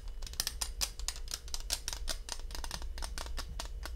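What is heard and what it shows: A small black plastic Sony lens cap, a thin hollow disc held in both hands, is scratched and tapped with fingertips and short nails close to the microphone. The result is a rapid, uneven run of dry, bright clicks and scratchy taps that decay almost instantly. A steady low hum sits underneath throughout.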